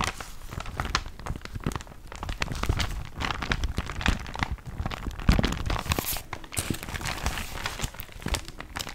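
A thin paper catalogue with crumpled pages is held up and crinkled and bent by hand. Dense, continuous crinkling and crackling runs throughout, with rapid sharp transients that reach up into the high range over a low rumbling body.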